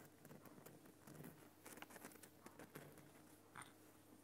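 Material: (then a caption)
Rock salt. Fingernails of one hand tap and scratch the side of a large, solid, lit Himalayan rock salt lamp. The result is a quiet, irregular patter of short, dry clicks and crackly scratches, each dying away almost at once, with one brighter, ringing tick near the end.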